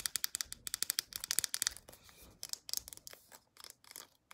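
Long acrylic nails tap and scratch the round flip cap and body of a white plastic lotion tube. Quick, bright, clicky taps come in rapid bursts, broken by short, soft scratching stretches. The sound is thin and high with almost no low end, and each tap dies away instantly.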